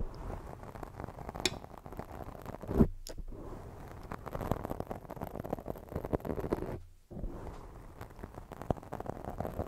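Long jeweled fake nails scratch and rub a black foam microphone windscreen, making a dense, low, muffled scratching and rustling. Two brief silent gaps break the steady texture, with a louder scuff just before the first.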